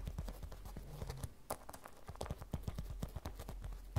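A small, glossy, hollow and soft printed vinyl or coated fabric cosmetic pouch resting on a table is tapped with long red fingernails. The result is a rapid series of soft, dull, low taps that die away almost instantly, with little high content.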